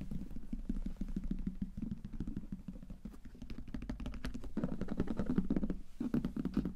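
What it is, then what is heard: Leather briefcase tapped and scratched. Fingertips and nails tap and scratch quickly across the top of a closed, hollow brown leather briefcase with metal clasps lying flat on a table. The result is a dense, steady patter of short, dull, low thuds with a hollow body, mixed with soft scratching. The tapping grows louder and fuller in the second half.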